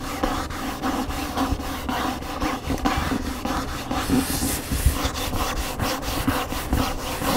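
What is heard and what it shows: Fingernails scratch the glossy back cover of an upright large hardcover cookbook, then move to the front cover along the spine edge. The sound is a steady, dry rubbing and scraping made of quick repeated strokes. It stays dull and low-weighted, with little bright hiss.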